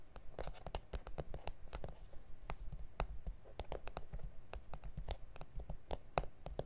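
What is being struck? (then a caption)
Plastic cutting mat. Fingertips and nails tap and scratch across a flat, solid A4 self-healing plastic cutting mat with grid lines. About two dozen quick, dry clicks land at an irregular pace over soft scratching. Each tap is short and bright with almost no ring, above a low, dull thud.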